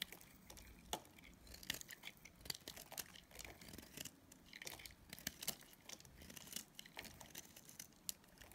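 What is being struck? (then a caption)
Soap bar. A palm-sized, solid bar of dried pink and purple Dalan soap is held in the hand while a utility knife blade shaves and scrapes curls off its corner. A quiet, bright, dry run of crisp scratching and crackling sounds follows, with many short, sharp snaps and almost no low end.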